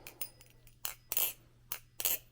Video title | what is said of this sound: "When should I oil my Balisong?" | Do you hear how low that sounds? It doesn't have that high, sharp sound.